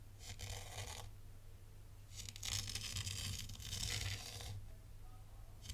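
A thin black stylus traces shapes through fine white sand in a tray, scratching through the loose grains. Bursts of crisp, bright scratching come at about 0.3–1 s and 2.1–4.5 s, with quiet gaps between, over a steady low hum.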